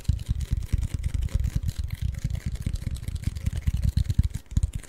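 A tall, hollow cylindrical Pringles chip can with a cardboard tube and paper label is scratched and tapped by the fingertips and short nails of both hands. The result is a rapid, uneven string of dull, hollow, low thumps that die away almost instantly, with faint scratchy texture between them.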